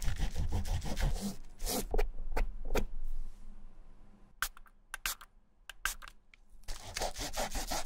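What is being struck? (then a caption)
Rubber shoe midsole rubbed with a cloth. A fingertip wrapped in a white cloth rubs and wipes along the white textured rubber midsole of a canvas Vans Slip-On shoe. Quick, dry scraping strokes come in an uneven rhythm, then a quieter stretch with a few sharp, bright clicks. The rubbing resumes at the end.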